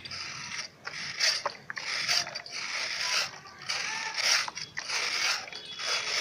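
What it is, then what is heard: Sand-cement block being scraped. A flat grey scraper is pushed down the face of a hand-sized, solid grey sand-cement block held upright over a dark basin of water, shaving off powdery dust that falls into the water. Bright, gritty rasping strokes repeat at an uneven pace, each swelling and fading with brief quiet gaps between them.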